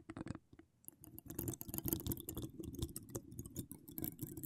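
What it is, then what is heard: Metal microphone grille. Long decorated acrylic nails on both hands scratch and tap the hollow steel mesh grille of an uncovered microphone with wire spiral decorations. The result is a dense, continuous stream of crackly scratching and quick dry taps with a hollow, muffled low-mid resonance, after a brief near-silent pause early on. Bright ticks flicker over the top throughout.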